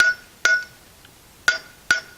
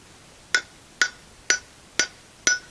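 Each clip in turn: First: fully seated bearing race (solid). Second: unseated bearing race, hollow.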